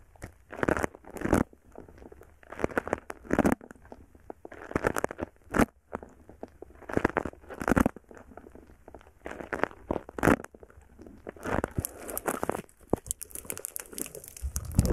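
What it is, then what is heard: Foam bead slime (floam). A palm-sized lump of purple foam bead slime (floam) is held just above a microphone while both hands squeeze it and pull it apart with their fingertips. Dense crackling, crinkling, and popping bursts come in repeated waves with short quiet gaps between them. Near the end, the sound grows brighter and more continuous.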